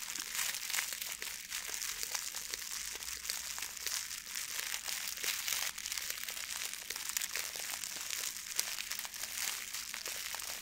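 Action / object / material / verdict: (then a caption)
scrape / plastic foil gift bow / plastic foil / none. A blue metallic plastic ribbon gift bow is crumpled and rubbed with the fingers, giving a steady, dense crinkling full of sharp, bright crackles. The rustle stays at an even, soft level throughout, with almost no low end.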